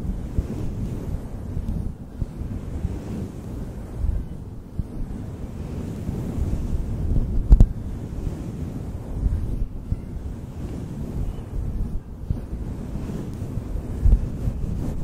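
Fingertips of both hands rub and cup a synthetic faux fur windscreen on a desktop microphone, producing a continuous, muffled, low rumbling rustle with almost no high-end detail. The sound swells and fades unevenly, with occasional brief, louder thumps where the fur is pressed more firmly.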